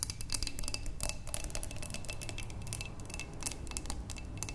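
Long nails on both hands tap the sides of a wide, clear glass vase holding tulips, producing a rapid, continuous patter of bright, clicky ticks. Each tap dies away almost instantly, with a faint glassy tone, over a steady low hum in the background.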